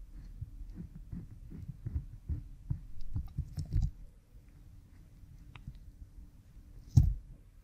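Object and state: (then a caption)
Silicone ear microphone being scratched. A thin bamboo stick rubs and scratches the skin behind an oiled pink silicone ear model microphone. The sound is a series of deep, muffled, thumping strokes with a low hum underneath. The strokes are steady through the first half, then quieter, with one louder thud near the end.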